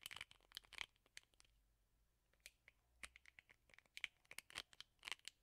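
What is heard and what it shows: Fingernails flick and scratch the plastic bristles of a plastic hairbrush with a rubber bristle pad. The result is a quick series of sharp, bright, dry ticks and scratchy crackles that cluster in bursts with brief quiet gaps between them.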